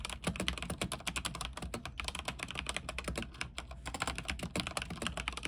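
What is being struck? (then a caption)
Mechanical keyboard with plastic keycaps on an aluminium frame. Fingertips type continuously on a backlit mechanical keyboard with white plastic keycaps on an aluminium frame. A rapid, steady stream of short, crisp clicks and clacks sounds bright, with each keystroke dying away almost instantly over a constant low hum underneath.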